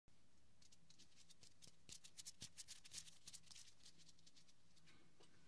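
Fingertips and short nails of both hands scratch and rub the ribbed, quilted fabric cover of a large soft white pillow lying in front of a binaural mic. The result is a quiet, irregular patter of bright, crisp scratches over a steady low hum, briefly louder in the middle.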